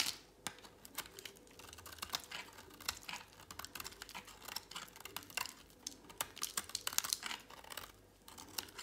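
A utility knife blade shaves a thin remaining piece of dry, pale green solid soap held in a hand. The result is a quiet, steady run of crisp, dry scraping ticks and crackles, bright and high with almost no low end. Each cut snaps off sharply with no ring.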